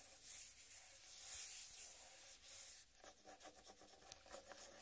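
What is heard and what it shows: Long red-painted nails scratch across the green striped rind of a large, solid, heavy, uncut whole watermelon, making a bright, hissing rasp for about three seconds. The sound then shifts to quieter, rapid tapping on the rind, with a faint hollow tone under each light tick.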